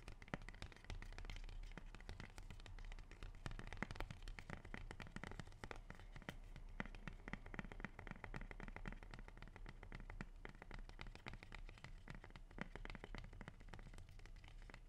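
A large, dark green, waxy rubber plant leaf is curled in the hand and tapped and rubbed with fingertips and nails. The result is a steady, quiet stream of quick, dry taps and scratchy rubbing over a low, muffled rumble, with many short, sharp clicks that stop instantly.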